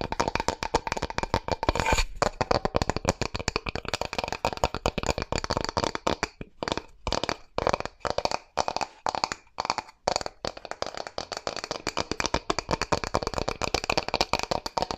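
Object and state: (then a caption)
Bamboo board tapped and scratched. Long fingernails rapidly tap and scratch across a flat, rectangular, light bamboo board or box lid held in both hands. The result is a dense stream of short, dry clicks and scrapes centered in the midrange with a bright edge. Around the middle, the tapping breaks into slower, separate bursts before turning steady and fast again.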